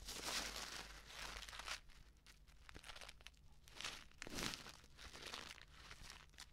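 A flat, sealed plastic instant soup sachet filled with dry contents is crinkled, scratched and dangled by its edge with long nails. The result is bright, dense crinkling and crackling, with louder bursts near the start and again around the four-second mark, and a faint low hum underneath.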